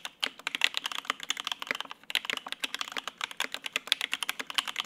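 Continuous two-handed fingertip typing on a Lin Works Whale 75, a 75% mechanical keyboard with lubed linear Opblack switches, white and grey ABS keycaps and a polycarbonate plate, resting on a desk mat. Rapid, bright, crisp keystroke clacks follow one another with almost no ring, with a brief lull near the two-second mark before the typing picks up again.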